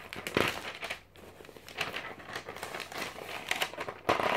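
A thin glossy paper magazine of a few hundred pages is held in one hand while fingertips flick and turn its pages. The paper rustles and crinkles in bright, crackly bursts as it riffles, with louder flurries near the start and end and softer rustling in between.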